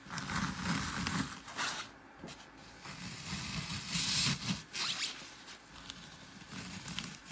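Fingertips press and crumble the surface and edges of a glitter-topped green floral foam block, spreading dents across it. Dry, crackling crunches with bright, hissy texture rise and fall in irregular bursts over a low rustling undertone, with a quieter stretch in the middle.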